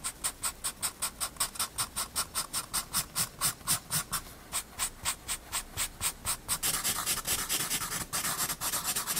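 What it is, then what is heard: Blending stump rubbing graphite on sketchbook paper. A blending stump rubs and smudges graphite on a paper sketchbook page of a pencil penguin drawing, making quick, rhythmic back-and-forth strokes with a bright, papery hiss. The strokes pause briefly near the middle, then become a denser, almost continuous rubbing toward the end.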